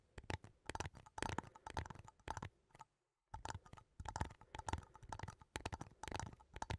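A small cylindrical metal coffee tin, held sideways in both hands, is tapped and scratched along its side with fingertips and nails. Quick, irregular clusters of soft, dull taps and scratchy clicks have a faint metallic ring near 1 kHz. A brief silent pause falls just past the midpoint before the tapping resumes.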